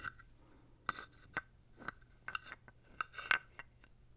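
A small, dark carved wooden toad is held in the hand close to the mic and rubbed and scraped with fingertips and a wooden stick. About nine short, dry, raspy strokes sound out, each with a brief hollow wooden tone around 1.5 kHz and a bright edge. The strokes are separated by quiet pauses.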